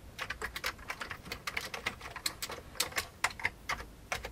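Fingertips of both hands type on a full-size vintage beige plastic computer keyboard. The steady run of quick, bright clicks and clacks is uneven in force, and each keystroke dies away almost at once.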